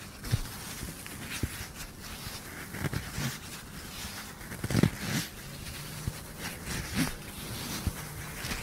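A flat, medium-sized, soft-sided black fabric clutch bag that looks empty is tapped and scratched with fingertips and short nails while held in front of a microphone. Soft, low, muffled taps stand out above a steady, quiet, brushing scratch of nails on fabric that carries some bright texture. The taps die away almost at once, with no ring.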